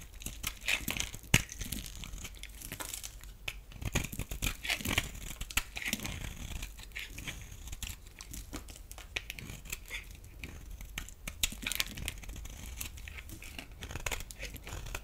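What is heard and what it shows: A blade scrapes thin shavings off the surface of a solid green bar of soap held in the palm. There is a steady run of dry, crisp scraping and crinkling with many quick bright bursts. A sharper flick stands out near the start.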